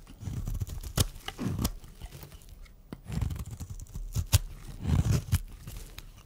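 A metal blade shaves flakes off a solid, dry pink and white striped bar of soap held in the hand. Soft, low, crunchy scraping strokes come in waves, punctuated by sharp, bright clicks as the blade cuts through.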